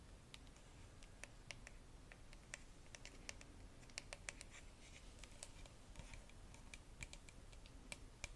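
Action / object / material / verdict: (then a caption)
tap / plastic bottle of liquid / plastic / none. Long nails tap quickly on a clear plastic Bioderma micellar water bottle with a red cap, filled with liquid, striking both the bottle and the cap. The result is a steady run of short, dry, bright clicks with almost no ring, over a quiet low rumble.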